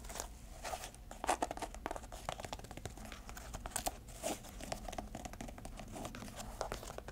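Long nails scratch the canvas and velcro straps of a small, empty grey canvas shoe with a white rubber sole, held in the hands. A quiet, steady stream of dry, crinkly rasping and scraping carries a faint mid-range tone. A few sharper, louder scrapes stand out along the way.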